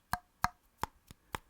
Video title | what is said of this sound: M1 Finance Credit Card UNBOXING | that doesn't sound like metal